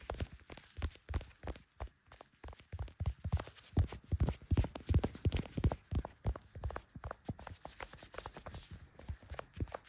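Leather-gloved fingertips rapidly tap the back and clear plastic case of a small, solid handheld smartphone, which is also doing the recording. The taps land as quick, dull, low thuds with almost no ring, coming in uneven bursts of roughly three per second. Some taps are louder than others across the clip.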